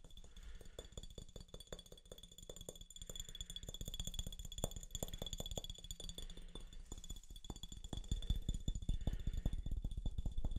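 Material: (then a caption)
Glass. A clear glass soda bottle with a yellow label, held sideways, is tapped along its body with fingertips and nails. Quick, irregular taps come in dense runs, each a short, dull knock with a low thud and faint bright ticks.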